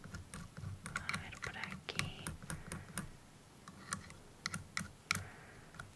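A thin metal dental pick with a white handle taps and scrapes along the lower teeth of an open, hollow, hinged plastic dental model with pink gums and white teeth, held in a gloved hand. Rapid, dry, bright clicks come in uneven bursts over soft scraping and a low rustling undertone, each tap dying away almost at once.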